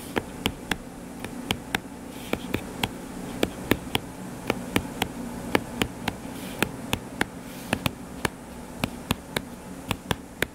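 Fingertips tap quickly on the cover of a closed hardcover paper book lying flat and solid, making about thirty short, dry clicks that reach up into the bright range and die away instantly. Under the taps runs a steady low buzzing hum centred around 300 Hz.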